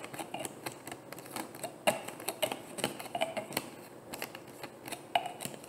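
Long painted nails tap and click rapidly on a hollow, frosted white plastic bottle. The result is a quick, uneven run of light, dry clicks with bright edges and almost no bass, some strikes giving a brief hollow ping around 700 Hz that dies away almost instantly.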